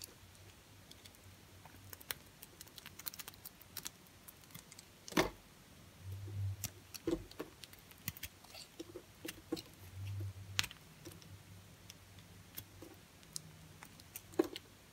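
A utility knife blade carves thin sheets from a dry, pale green bar of soap. Many dry, crisp ticks and scrapes patter unevenly over a quiet background, with a sharper snap near five seconds and brief low rumbles around six and ten seconds.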